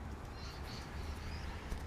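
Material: Nothing is struck.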